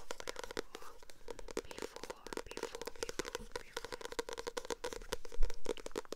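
Long acrylic nails tap and scratch the glossy paper cover of a purple paperback book that is held up. The sound is a quiet, rapid stream of sharp, dry clicks and crinkly scratches, each dying away almost at once.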